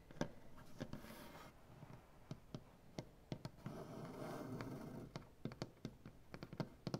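Fingernails on both hands tap and scratch across a solid light wooden butcher block tabletop. Sharp, dry taps land at an irregular pace with almost no ring, while softer stretches of scratching fill the spaces between them.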